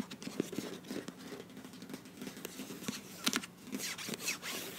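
Long nails scratch along the flat sealed end and sides of a filled beige plastic face wash tube with a bronze cap. The result is a run of dry, bright scratching and crinkly rasps, with a few sharper clicks standing out over a quiet, hissy background.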